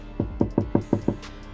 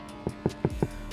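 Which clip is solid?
The second.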